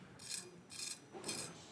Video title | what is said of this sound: HSN - Chef Curtis Stone Food Favorites 02.23.2025 - 02 PM | listen to how crispy it is